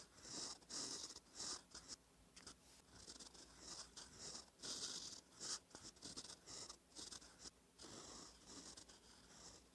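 A gold metal fountain pen nib, held by fingertips, scratches across a thin cream lined notebook page while writing cursive. Quiet, bright, dry scratching comes in short bursts separated by brief pauses, with nearly all of the sound in the high range.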